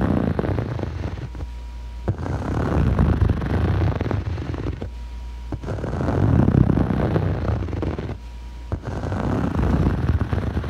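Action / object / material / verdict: scrape / foam yoga mat / foam / none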